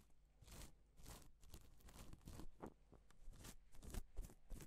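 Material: Plastic.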